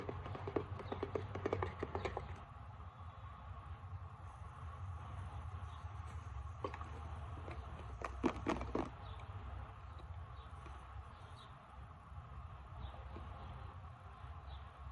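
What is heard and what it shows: Long nails tap the flat side and back label of a partly full plastic isopropyl alcohol bottle. Quick bursts of light, dry clicking come in the first two seconds and again around eight to nine seconds. A steady low hum fills the quieter stretches in between.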